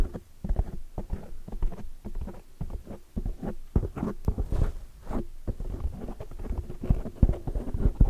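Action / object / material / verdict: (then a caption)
tap / foam microphone windscreen / foam / none. A large oval black microphone windscreen of soft, porous foam is rapidly tapped and scratched along its sides by long, dark, metallic-painted fingernails. The result is a dense run of close, muffled thumps and soft scraping rustles, almost all low and boomy with no brightness. Each tap dies out almost instantly.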